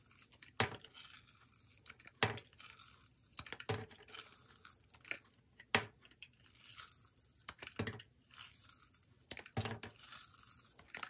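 A metal utility-knife blade shaves thin curls off a palm-sized solid yellow bar of soap with a glitter-coated edge, held in one hand with long pointed nails, as the shavings fall onto a wooden table. Repeated short, crisp scraping strokes each begin with a sharp attack and trail into bright, hissing, papery crackles. Quiet gaps separate the strokes.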